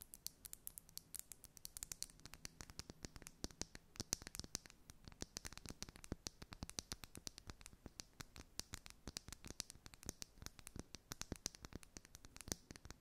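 A glass makeup foundation bottle is tapped and scratched in a steady, quick stream of dozens of short, crisp clicks. The clicks are bright and high-pitched with almost no ring, mixed with soft scratching over a quiet background.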